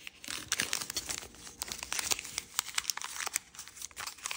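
Fingertips crease and rub the thin layers of a purple kaleidoscope origami paper sheet folded into a crane base. Dense, bright crinkling and rustling fill the clip, broken by many sharp, crisp crackles and snaps. There is almost no low end, and each crackle stops dead.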